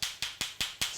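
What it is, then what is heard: Live clams, solid (fresh). Two closed clams are knocked together five times to check whether they are fresh and edible, giving sharp, bright clicks that die away quickly. The knocks sound hard and solid, like billiard balls rather than hollow, marking the clams as live and fresh; a hollow sound would mean a dead clam to be thrown out, and none in the batch were bad.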